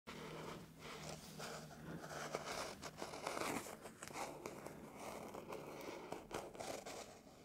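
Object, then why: Hardback book with a paper-covered card cover. Fingertips and short nails scratch and rub over the cover illustration of an old, thin hardback book, "Clanland," whose textured paper or card cover rests closed on a wooden table while the other hand holds it. The result is a steady, dry, broadband scratching and rustling, with brief sharper scrapes poking out of a fairly even, soft level.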